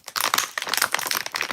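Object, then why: Plastic water bottle. A water bottle is tapped and rattled in the hand, making a quick run of dry clicking and crinkling taps. The sound is bright and crisp with almost no low end, and each tap dies away almost instantly.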